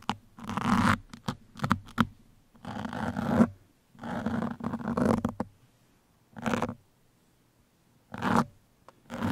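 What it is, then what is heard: Foam microphone windscreen. Pin tips are scratched across the surface of a black foam microphone windscreen with both hands. Bursts of coarse, rustling scratch noise come in short flicks and longer sweeps separated by silent pauses, with a dull low hum under the friction and little bright edge.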